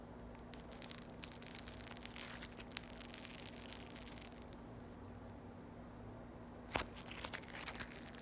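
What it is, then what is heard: Floam (foam beads in slime). A solid piece of yellow floam, foam beads in slime, is squeezed and pulled apart into strands by fingers with long nails. Dense, bright crackling and tearing pops fill the first four seconds over a faint steady low hum. The sound then quiets, and a sharp burst of crackles comes near the end.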